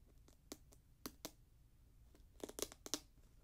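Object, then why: Synthetic leather and mesh high-top sneaker. Fingertips tap the upper and strap of a grey Jordan Flight 45 high-top sneaker made of synthetic leather and mesh. Eight short, dry, bright taps come at an uneven pace, scattered early and then bunched toward the end, each dying away almost instantly against a quiet background.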